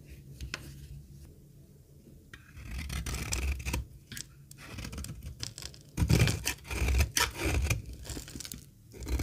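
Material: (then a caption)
Soap. A metal box-cutter blade scrapes and shaves a solid, dry, rectangular green laundry soap bar held in the hand, with shavings falling away. Irregular dry, rasping strokes come in bursts, with bright scratchy highs over a soft low rumble, getting louder and denser in the second half.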